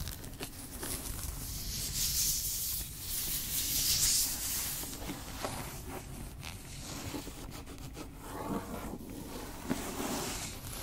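Long nails tap and scratch the leather cover and ornate gilt spine of a thick antique leather-bound book, which is held closed and tilted. A steady, bright scratching hiss runs throughout, with soft, irregular taps rising out of it.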